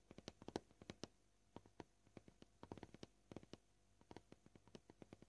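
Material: Plastic.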